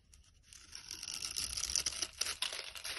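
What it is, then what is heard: Soap bar being scraped. A utility-knife blade scrapes small cubes off a solid, grid-scored pink soap bar held in the hand, and the cubes crumble away. A dry, bright, crackling scrape starts faint and builds into a dense run of quick, irregular crisp ticks and crumbles, with almost no low end.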